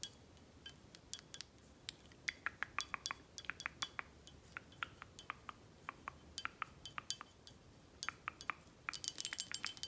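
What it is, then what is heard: Glass bottle. Long acrylic nails tap on a tall, full, red glass Corralejo tequila bottle with a paper label, held in the hand, striking both the glass and the label. Dozens of quick, bright clicks and clinks ring only briefly, spaced irregularly at first and then bunching into a rapid flurry near the end.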